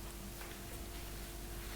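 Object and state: Nothing is struck.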